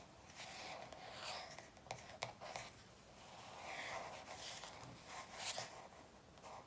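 Long nails on both hands tap and rub the glossy back cover of a paperback workbook. Quiet, bright scratchy rubbing is broken by a few soft, sharp taps.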